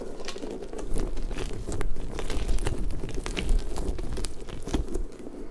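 A large, hollow, pink soft rubber puffer ball with spiky tendrils is rubbed and scratched with fingertips. The result is a steady, low-heavy rubbery rumble and squeak, dotted with dense, crinkly scratching ticks and brief bright clicks throughout.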